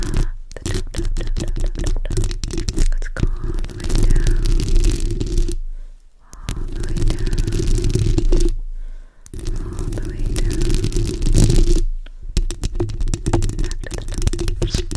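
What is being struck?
Metal mesh microphone grille.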